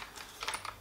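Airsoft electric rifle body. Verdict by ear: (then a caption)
Solid. Shaking a Saigo Defense Ronin airsoft AEG rifle to check its build gives a few light, dry clicks from its cover, the only part that rattles. The rifle is otherwise absolutely solid, with no flex except a tiny bit in the stock.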